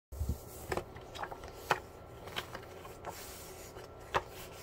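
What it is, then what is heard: Paper sheet being crumpled and torn. A single thin white printed paper sheet is held in both hands while fingertips with painted nails crumple and tear it. Sharp, dry crackles and ripping bursts stand out over a soft, steady rustle, with a low thump at the start and the loudest tears near the middle and end.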